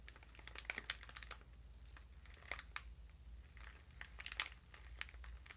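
A small exfoliating body sponge sealed in a thin clear plastic wrapper is held in both hands, and the wrapper is squeezed and crinkled with fingertips and long nails. Quiet, irregular bursts of crisp, bright crinkling and sharp snaps rise over a steady low hum.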